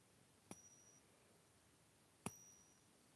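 A silver coin marked "85" is given a ping test, producing two separate high, bell-like pings. The second ping is louder and rings slightly longer than the first.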